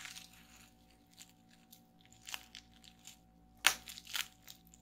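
Fingertips press down on a flat sheet of clear plastic bubble wrap lying on a table, popping the bubbles. Quiet crinkling and light crackles build to a series of short, bright, sharp pops. The loudest pop comes near the end and fades almost instantly.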